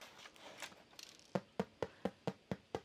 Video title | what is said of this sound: Irish Soda Bread Recipe Made With Fresh Milled Flour | You want to make sure that it sounds hollow on the bottom. That's how another way to know that it's done